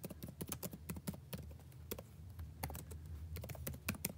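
Fingertips type on a backlit laptop keyboard with plastic keys. Quick, soft taps come in an uneven run, each a short muffled thud with a brief bright click that dies away almost at once, over a quiet low hum.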